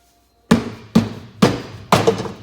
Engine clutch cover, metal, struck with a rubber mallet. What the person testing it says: A lot of times you can kind of hear how it sounds. If it sounds like it's hollow, that's a good thing.